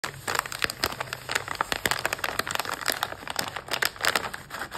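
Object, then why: Plastic foil snack pouch. A medium yellow stand-up plastic foil pouch, full of mini waffle cones and closed, is squeezed and crinkled in both hands, with long pink-tipped nails pressing and rubbing its surface. The result is a steady run of bright, crisp crackles and crinkles with quick, sharp peaks and almost no low end.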